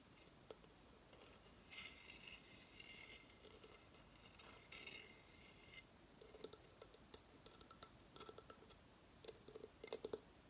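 Fingernails scratch and tap the stand base of a hollow coconut shell hamster hideout held tilted in the hands. Soft, hissy scratching comes first, followed by a run of sharp, bright clicking taps in the second half, all quiet and high-pitched.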